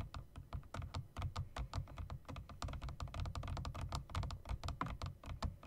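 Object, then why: Mechanical keyboard with plastic keycaps and metal rims. Fingertips rapidly tap the long spacebar and bottom-row keys of a typewriter-style mechanical keyboard with round plastic keycaps and metal rims. A fast, uneven stream of short clicky taps with low thocky bodies and brief bright clicks runs steadily throughout.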